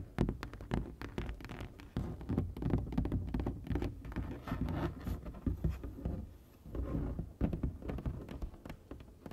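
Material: Foam board.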